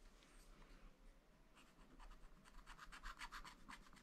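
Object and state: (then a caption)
Scratch-art paper pad. A wooden stylus rubs and hatches over an area of a black-coated sheet on a scratch-art paper pad, scraping away the coating. Quiet, soft scratching starts the clip and grows into a quick run of short, bright raspy strokes over a faint low hum.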